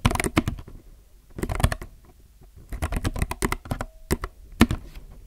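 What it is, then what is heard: Plastic mechanical keyboard. Both hands type steadily with their fingertips on a compact mechanical keyboard with plastic keycaps. Quick bursts of short, dry clacks come in three runs separated by brief pauses, with a solid low body and little high sparkle. A faint steady tone briefly hums near the end.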